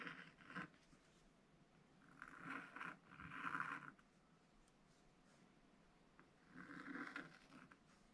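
A pointed wooden stylus scratches long curved lines for a chick's body and legs into a thin black-coated rainbow scratch paper page in an open spiral book. Soft, dry scraping strokes come in separate bursts, centred near 1.4 kHz with a papery hiss, separated by quiet pauses.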